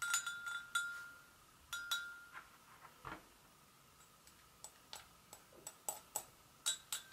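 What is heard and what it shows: Long acrylic nails tap the rim and sides of an empty, hollow, medium-sized white porcelain gravy boat resting on a stone counter. The result is a quiet, uneven run of light, bright clinks, each with a short, high ring that fades quickly between taps.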